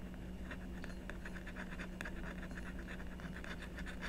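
A blue stylus continuously scratches and etches the coating of a black-coated scratch-art sheet on a card backing while the other hand holds the sheet down. Quick, dry scratching strokes repeat steadily over a constant low hum.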